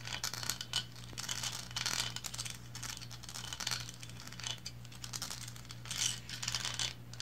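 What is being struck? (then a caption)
Painted resin figurine. Long blue acrylic nails scratch and tap the sides of a small, solid resin lighthouse figurine, painted red and white with textured banded stripes, standing on a cloth placemat. The result is a dense stream of bright, dry scratching and quick ticking taps in uneven bursts over a steady low hum.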